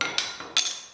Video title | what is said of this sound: Stumpf Fiddle Part 5 Tambourine Construction | these are hard almost sounds like metal when you drop it on the table